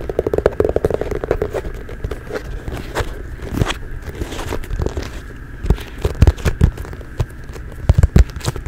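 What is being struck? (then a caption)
Leather ankle boot. A hollow, empty medium brown leather (possibly faux) ankle boot is held in both hands close to the microphone and scratched and tapped with long nails and fingertips along its shaft and heel. Soft crackling scratches run throughout with scattered sharp, dull taps, several louder ones near the end, all with almost no ring.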